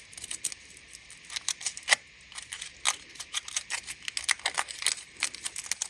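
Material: Aluminium foil.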